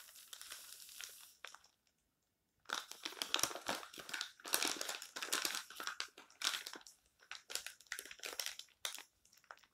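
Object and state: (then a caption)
Glossy paper magazine. Fingertips flip, rub and crinkle the thin pages of an open glossy paper advertising magazine lying on a table, while palms press and smooth the spread. Dense, bright crinkling and rustling bursts come in uneven waves, with a near-silent pause after the first second and a half before the handling resumes.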